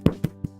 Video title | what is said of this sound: 【Bread Classes 101】Sweeteners and their effects! - THE SUGAR & YEAST THING IS A HOAX!!! | it's like I'm knocking on a cardboard box